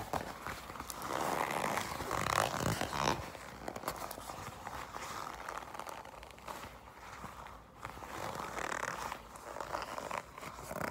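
Long pink acrylic nails grip, squeeze and scratch a black smooth leather jacket of thin, flexible material that is held up close. Dense, irregular scratching and creaking rustles swell and fade, with brief light taps in between.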